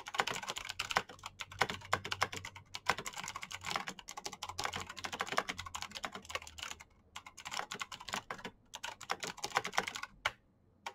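Both hands type very fast with their fingertips on a black plastic backlit mechanical keyboard with clicky switches. A dense stream of sharp, bright clicks rattles on with no ring, broken by a brief pause near the seven-second mark. It ends in quiet after a final burst.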